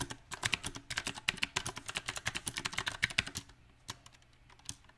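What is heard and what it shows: Fingertips of both hands type on a small 68-key backlit mechanical keyboard with round, typewriter-style plastic keycaps mounted on a silver metal plate. A quick, uneven run of sharp, bright clicks and clacks fills the first three and a half seconds, then thins out to a few scattered, isolated keystrokes. Each click is crisp and dies away almost instantly.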